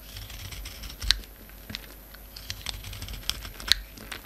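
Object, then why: Bar of soap scraped by a knife blade. A utility knife blade scrapes flakes from a hand-sized, solid white rectangular Marseille bar soap with a silver-coated embossed face. Dry, bright scratching and crisp clicks rise above a faint low hum, with sharp snaps standing out near the start and end.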